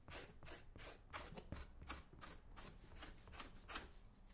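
A flat metal scraper blade scrapes repeatedly along the side and toe of a brown leather boot for the right foot, held in one hand. Each stroke is a short, bright, raspy scrape over a faint low rumble, in an uneven, steady rhythm.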